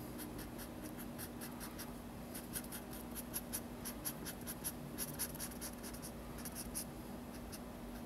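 A hand colors with a felt-tip marker on a large spiral-bound paper sketchbook lying flat on a table, rubbing the paper in steady strokes. Quiet, soft, scratchy strokes repeat in a rhythmic series, each carrying a bright, high-pitched squeak. A faint, low, steady hum runs underneath throughout.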